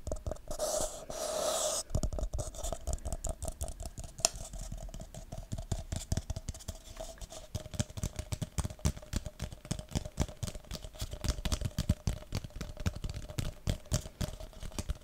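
An empty red plastic party cup is held over a microphone while fingertips and nails tap it. It opens with about two seconds of bright, hissy rustling, then settles into a fast, irregular stream of dry, short taps and clicks. A faint steady tone near 670 Hz runs underneath throughout.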